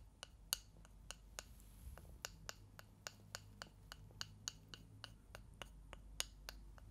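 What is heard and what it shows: Two thin, solid, light wooden sticks, like chopsticks, are held in front of the microphones and tapped and rubbed against each other by hand. About twenty short, dry, bright clicks come at an irregular, unhurried pace, each dying away almost instantly. A steady low rumble sits underneath.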